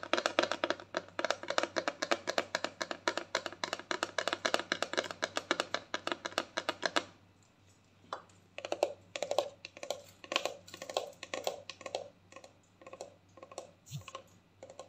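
A medium clear plastic mouthwash bottle with a black screw cap, partly full of liquid, is held in the hand and tapped and scratched with long painted nails and fingertips. About seven seconds of fast, dense, hollow clicking taps stop for a brief pause, then sparser taps and scratchy strokes follow. The sound is short and dry with bright edges.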